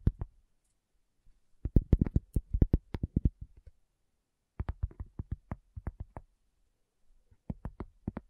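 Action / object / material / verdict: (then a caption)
tap / thin cork coaster / cork / none. A round, thin, solid cork coaster is tapped with long nails and fingertips in three quick bursts separated by short pauses. The taps are dull, soft clicks with very short decay, mostly low in tone with a faint bright edge.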